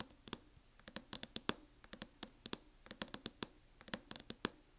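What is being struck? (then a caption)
Plastic hard-shell laptop case. Long fingernails tap and lightly scratch the lid of a closed MacBook in a teal matte plastic hard-shell case. The result is 23 quiet, sharp, bright clicks in an irregular rhythm, each dying away almost instantly with a faint scratchy rasp between them.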